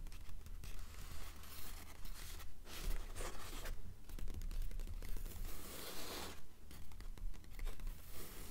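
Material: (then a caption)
Paper. Long acrylic nails on both hands scratch and tap the printed paper pages of an open paperback novel lying on a stack of books. The result is a quiet, steady stream of dry, papery scratching and rustling, with soft taps scattered through it and bright hissy bursts over a faint low rumble.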